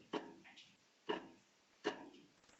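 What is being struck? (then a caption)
Wooden meter stick clamped at a desk edge. A meter stick held against a desk with 30 cm extending past the edge is flicked at its free end three times. Each flick gives a quick twangy snap with a brief tone around 410 Hz that dies away within about half a second. The stick vibrates at its natural, resonant frequency, and this shorter overhang gives the higher pitch compared with a 50 cm overhang.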